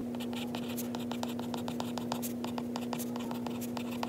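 A white stylus, held by fingers wearing a ring, writes notes on the glass screen of an iPad, making a quick run of light taps and scratchy strokes on the glass. A steady low hum, around 240 Hz, runs underneath the whole time.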